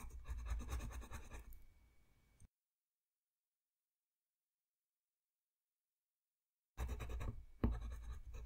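A yellow wooden colored pencil colors a thin white paper coloring sheet lying flat on a white desk, its short strokes rubbing and scratching across the paper in a soft, low-heavy rustle. The scratching fades out after about two seconds and gives way to silence for roughly four seconds. It then resumes with the same quick, scratchy strokes until the end.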